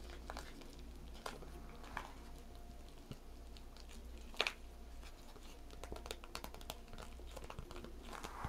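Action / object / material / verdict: scrape / clear vinyl zip pouch / vinyl plastic / none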